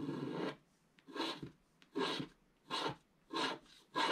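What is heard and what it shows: A wooden stylus scratches the black coating of a wax-coated scratch-art paper page, held down by the left hand, at the upper right to reveal orange color beneath. Six dry, rasping strokes with a bright hiss are heard, separated by short pauses and faint ticks.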